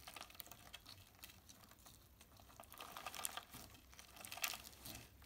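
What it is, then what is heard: Clear slime with plastic sequins. A palm-sized lump of clear slime covered in plastic heart sequins, soft and solid, is squeezed, folded and rubbed with the fingertips of both hands. This gives quiet, dense crackling and clicking with bright, crisp sequin ticks. Louder bursts come around three and four and a half seconds.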